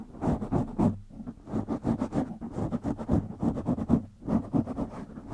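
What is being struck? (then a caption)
Foam microphone windscreen. Fingertips of both hands scratch a black foam windscreen on a microphone, producing rapid bursts of muffled, rustling scratches. The sound is dense and mostly low-to-mid, with little brightness, rising and falling in short pulses with brief pauses between flurries.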